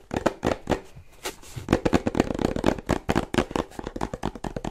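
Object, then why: Small printed cardboard box. Fingernails tap and scratch quickly across the top and front of a small printed cardboard charger box. The result is a rapid run of dry, hollow clicks mixed with brief scraping, each sound dying away almost at once.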